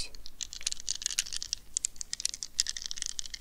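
Long nails rapidly tap and scratch a small squishy rubber stress ball covered in a plastic mesh net, held in both hands. A dense run of quick, crisp clicks and scratchy rustles fills the clip, bright and high with very little low end. Each tap is short and dry with almost no ring.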